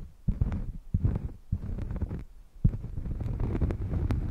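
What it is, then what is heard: Cork coaster. A thin, solid, round cork coaster held flat on a fluffy mic cover is scratched and tapped with long painted nails. The result is deep, muffled, bassy scratching in bursts, with a few sharper thumps and short bright clicks over a rumbling low end.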